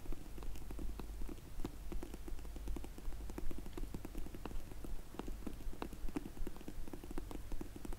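Long nails slowly tap the ends of a closed, dark grey faux leather hard sunglasses case for Zinff sunglasses while it is held in the hands. The result is a steady, loosely regular stream of soft, muffled, low taps with short dull clicks that die away almost at once. It all stays quiet and close.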